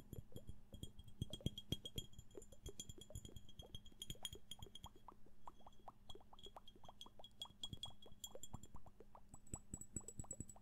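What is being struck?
Glass flask.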